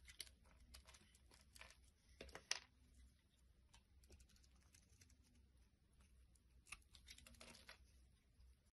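A small solid red glycerin soap bar, held in the hand, is shaved with a metal utility blade, its shavings piling up on wood. The sound is a series of quiet, crisp, bright scraping and crinkling strokes over a low steady hum, with a sharper snap about two and a half seconds in and another near the seven-second mark.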